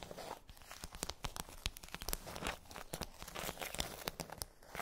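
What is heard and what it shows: Long nails tap and scratch across a pink plastic tray with hollow domes. The result is a quiet, rapid run of sharp, bright clicks mixed with crinkly, tearing scratches, each tap dying away almost at once.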